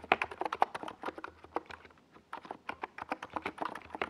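A NiZ Plum Atom 68, a compact 68-key mechanical keyboard with a white plastic case and purple and yellow Domikey Gas Attack SA plastic keycaps on a purple desk pad, is typed on steadily with the fingertips of both hands. The result is a fast, uneven run of short, dry, clacky keystrokes with a brief lull near the middle before the typing resumes.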